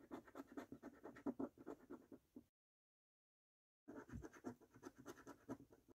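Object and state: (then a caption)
Paper lottery scratch card. A coin edge scratches the silver latex coating off the game panels of a thin, flat cardboard Snack Stack lottery scratch card lying on a dark wooden table, held down by the fingertips of one hand. About two dozen short, dry, raspy strokes come in quick bursts, then there is a silent pause of over a second before the scratching resumes.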